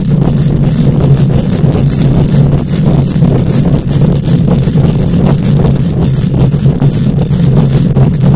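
Long nails scratch the hollow wire-mesh metal grille of a microphone, producing a loud, continuous rasping rumble with a steady low hum and a dense run of quick scraping strokes. Faint bright, hissy streaks ride over the heavy low end throughout.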